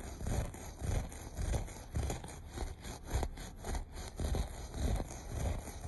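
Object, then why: Looped carpet pile. Short nails scratch the pile of a beige looped carpet in repeated back-and-forth strokes at a loose, fairly steady rhythm. Each stroke is a soft, dull, low-heavy rubbing scrape with a faint bright crackle of fibers and almost no ring after it.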